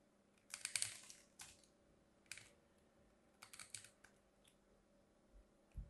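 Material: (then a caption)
Soap. A metal craft blade carves a hand-sized, solid pink bar of soap with a white stripe, held with long manicured nails, scraping and slicing thin flakes off its edge. Short bursts of bright, crisp scraping and crackling come in clusters separated by quiet pauses, with a soft low thump near the end.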